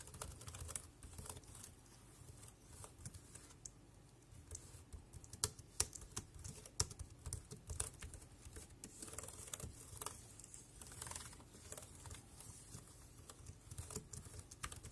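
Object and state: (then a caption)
Plastic wireless keyboard. Fingertips of one hand tap the right-side round keys of a dark grey compact plastic wireless keyboard, making quick, irregular typing clicks. Each tap is short and bright with almost no ring, over a steady low background rumble.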